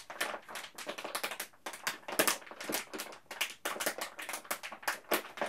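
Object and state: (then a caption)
Plastic candy bag being crinkled. A large yellow printed plastic M&M's candy bag filled with candies is held in both hands and crinkled and squeezed at the top with the fingers. It makes a dense run of sharp, bright crackles and rustles in quick irregular bursts, with almost no low end.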